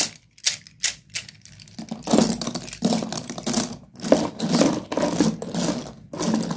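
Fingers rake and stir a pile of broken solid slate pencil sticks in a cardboard box. A few sharp, separate clicks open the clip, then build into a dense, continuous crunchy clatter of the pieces rattling against each other, bright and dry with almost no ring.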